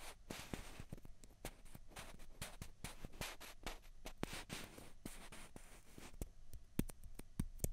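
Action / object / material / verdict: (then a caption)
tap / plastic ping pong balls / plastic / none. Two small hollow white plastic ping pong balls, one held in each hand, are tapped and scratched with long fingernails. Sharp, dry clicks ring out briefly over a steady bed of bright scratching and rubbing, and the sound stays quiet and close throughout.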